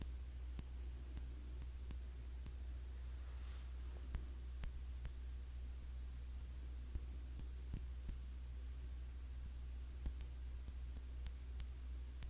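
Fingers tap on the glass body of a cologne bottle, a Classic Match clone of YSL Y. The result is quiet, scattered, bright clicking ticks that die away almost instantly. A steady low hum runs underneath throughout.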